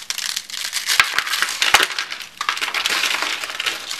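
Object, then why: Soap shavings. Hands with blue nails crush thin, brittle, bright green dry soap shavings rolled into coils in their fists, scattering flakes. A dense, dry crunching and crackling runs throughout, bright and high with no low end, with a few sharper snaps standing out.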